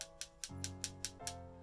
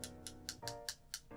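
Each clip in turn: First: Seven quick, bright ticks as two glass lenses clink together, the high pitch marking them as glass. Second: Six quick, dry clicks of a glass lens tapped on a plastic lens, duller than glass on glass.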